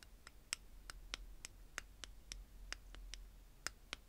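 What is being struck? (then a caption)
Clear plastic bead containers. Long painted fingernails tap and scratch on the top jar and lid of an upright tower of stacked small clear plastic bead containers holding purple glass beads. Fourteen quick, sharp, bright plastic ticks stand out over soft scratching and a faint low hum, each click dying away instantly.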